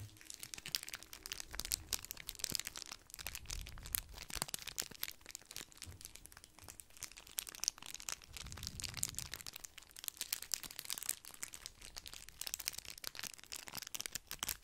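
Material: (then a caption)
Foil. Two matching small red foil candy wrappers, one in each hand, are held close to the microphone and crinkled and rubbed between the fingertips. The thin foil gives a dense, bright stream of crackles and crisp snaps, with soft low rustles swelling now and then underneath.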